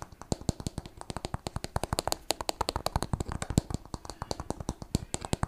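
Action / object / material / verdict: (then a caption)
tap / small plastic bottle partly filled with liquid / plastic / none. A small clear plastic water bottle with a purple cap, partly filled with liquid, is tapped rapidly with fingertips and nails and turned over. The result is a dense run of short, dry clicks and taps with a low, hollow body, some brighter tonal pings and a faint slosh of the liquid.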